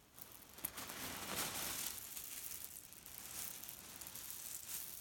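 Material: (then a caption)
Cherry stones. A grey leaf-print cotton pillow filled with cherry pits is gripped and kneaded with the whole hand, so the pits grind and rattle against each other. The result is a quiet, steady, bright, grainy rustle that swells and eases as the hand squeezes, with one small sharp click near the start and almost no low end.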